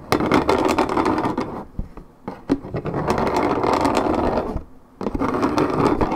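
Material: Paperboard.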